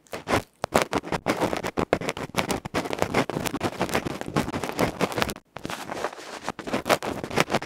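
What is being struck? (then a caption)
Small metal microphone capsule with felt face, bamboo pick. A bamboo ear pick scratches and scrapes the felt face of a small metal electret microphone capsule held in the fingers. The result is a rapid, dense run of harsh, close-up scraping and scratching strokes. It has short crackly bursts and brief gaps, and its energy is spread across a broad mid range.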